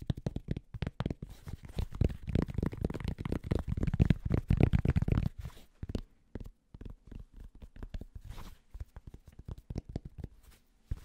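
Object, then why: Cotton baseball cap. Fingertips scratch the crown and brim of a grey cotton Penn State baseball cap. The result is a fast, irregular run of soft, dull scratches and taps, mostly low in tone. They are loudest in the first half and then thin out to quieter, sparser strokes.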